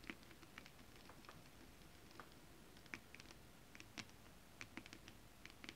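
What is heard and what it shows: Long acrylic nails on both hands tap and scratch across a holographic mermaid scale fabric, a flat iridescent foil scale-print stretch fabric. An irregular stream of quiet, crisp, bright ticks with soft scratchy rustling sits over a faint low hiss, each tick dying away almost instantly.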